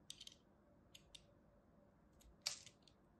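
A small metal blade scrapes and cuts across the flat face of a solid purple and white striped soap bar in sparse strokes. About six short, crisp, bright scratchy ticks stand out against a quiet background, the loudest near the end, each fading almost at once.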